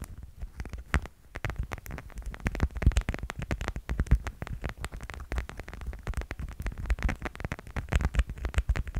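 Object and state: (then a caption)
Plastic cat figurine. Rapid, continuous tapping on a plastic cat figurine for ASMR. The taps are short, dull knocks with almost no ring, heavy in low thumpy tones and with little brightness, running in quick uneven clusters throughout the clip.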